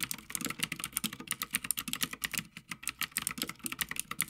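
A Havit full-size backlit mechanical gaming keyboard with plastic keycaps on a metal top plate is typed on continuously with the fingertips of both hands. The result is a rapid, uneven stream of short, sharp, bright clacks with almost no ring and little low end.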